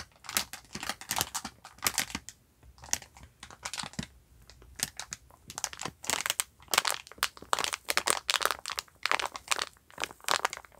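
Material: Plastic film.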